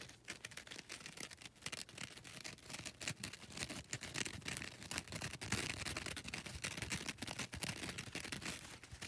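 Long red nails scratch across the gritty surface of a foam nail buffer block with a lilac grit side and a grey grit side. The result is a quiet, dense, bright scraping made of rapid short strokes that grows slightly louder partway through.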